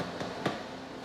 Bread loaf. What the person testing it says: we listen for a hollow sound or a crack in the bread, which says it's ready